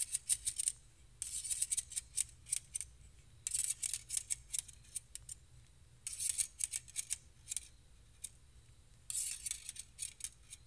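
Two stainless steel balloon whisks, held one in each hand, have their thin wire loops scraped and tapped against each other and plucked with fingertips. The result is bursts of bright, high metallic ticks and jingling rattles with very short ring, separated by quiet pauses.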